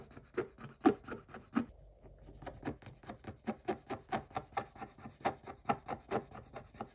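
A wooden stick scratches across a scratch-off coated paper page in quick, repeated strokes. Each stroke is a short, dry rasp, and there is a brief pause just before the two-second mark. The scratching then picks up again in a steady back-and-forth rhythm.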